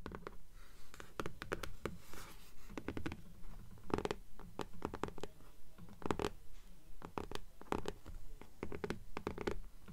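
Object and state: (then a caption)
Paper-covered hardcover book. Long polished nails scratch and tap the cover of a hardcover "Fairies" book with a pale green paper dust jacket, first lying flat on a table and then held upright in both hands. Quick, irregular clusters of dry, short taps alternate with soft papery scratching, the sound dull and low-heavy with almost no ring.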